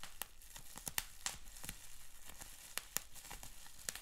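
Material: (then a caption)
Plastic. A bundled sheet of clear plastic bubble wrap with small bubbles is squeezed and twisted by fingers. Soft, continuous crinkling runs underneath scattered sharp, bright pops that snap off quickly. The whole clip stays fairly quiet.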